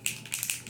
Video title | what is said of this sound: FOUNDATION DECLUTTER MAKEUP DECLUTTER TIME | it's actually like an aerosol can for your foundation, and you like shake it up